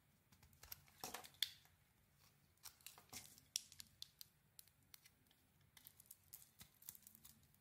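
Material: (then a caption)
Soap. A solid oval pink soap bar with a burgundy and gold coated surface is held in the hand and shaved with a metal blade. It makes a quiet, irregular run of short, crisp scraping and snipping cuts with a bright, high, papery character. Between strokes there is only faint low background hum.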